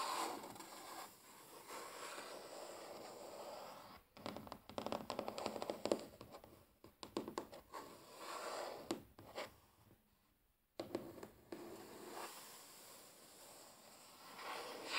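Short natural nails and fingertips of both hands tap and scratch a large, solid wooden tabletop close up. Soft, steady scratching opens and closes the clip, with a dense run of crisp, quick taps in the middle and a brief near-silent pause before the scratching resumes.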